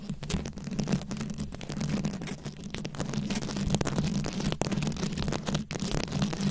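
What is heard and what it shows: A fist-sized microphone head fully covered in small glued-on rhinestones or beads is scratched and tapped with long acrylic nails, giving a continuous, dense clatter of tiny clicks and scrapes. Underneath runs a steady low hum near 200 Hz, and bright crackles flicker above it.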